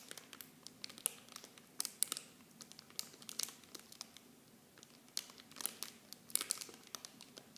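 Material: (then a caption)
Plastic film. Fingertips and long painted nails squeeze and crinkle a small clear plastic film bag of blue plastic miniature shampoo bottles held in both hands. The result is a quiet, bright, dry crackling made of many sharp crinkles that come in irregular bursts, with almost no low end and no ring after each snap.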